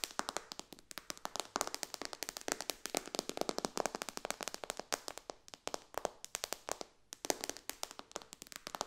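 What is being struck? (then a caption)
Glass tablet touchscreen tapped with fingernails. Long dark nails on both hands fast-tap and lightly scratch the glass touchscreen of a white iPad lying flat on a cushion. The result is a dense, rapid stream of sharp, bright clicky taps with almost no ring or low end, broken by a brief pause near the seventh second.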